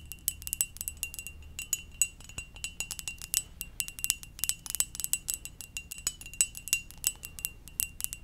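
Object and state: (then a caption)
Ceramic mug. A ceramic mug shaped like a Poké Ball is tapped gently in a quick, irregular series of light taps. Each tap gives a short, bright, glassy ping with a high, chime-like ring that dies away almost at once, over a faint low background.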